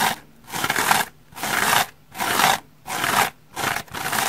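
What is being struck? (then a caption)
Polyurethane foam sponge scratched with fingernails. A dry, hand-sized, rainbow-striped polyurethane foam bath sponge, porous and soft, is held in one hand and scratched with long red-painted fingernails. The result is a series of rough, bright, scratchy bursts separated by short silences, with almost no low end.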